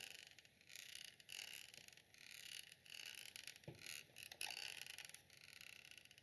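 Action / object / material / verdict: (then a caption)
scrape / perforated metal microphone grille / metal / none. A thin green stick or brush handle taps and scratches the perforated metal grille of a round, hollow black USB microphone of the Snowball type, which sits on a small tripod. Dense, bright scratching comes in bursts of crackly texture with almost no low end, broken by short pauses and a couple of sharper taps.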